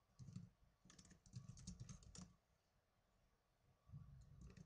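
Fingertips with medium-length blue-painted nails rapidly tap the plastic keys of a small black plastic netbook laptop keyboard. Quick bursts of soft, low key thumps mix with bright, sharp clicks and die away almost instantly. The typing pauses for about a second and a half, then resumes in another quick flurry.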